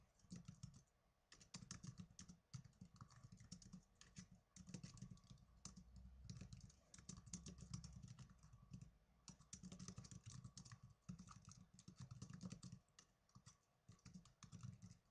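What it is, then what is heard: Plastic netbook keyboard being typed on. Fast typing with fingertips and blue-painted nails on the plastic keys of a small black plastic netbook keyboard. It makes dense, rapid runs of sharp clicks with bright high ticks and a soft low thud under each keystroke, broken by brief pauses.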